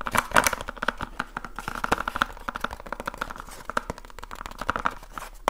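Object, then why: Small cardboard light bulb box. A small rectangular cardboard light bulb box, likely still holding its contents, is held in both hands and tapped quickly with the fingertips and short nails. The result is a dense run of rapid, dry, papery clicks and taps centered in the midrange, each dying away almost instantly, with a faint crinkly texture between them.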